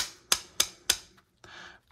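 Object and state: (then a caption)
Folding knife with loose fire starter, rattles only when banged. A Victorinox Venture Pro folding pocket knife with a band fitted is banged hard three times, giving three sharp, bright clicks as the loose fire starter insert rattles, followed by a short softer scrape. Even with the band on, hard banging still forces the fire starter to rattle, though it does not rattle in normal carrying.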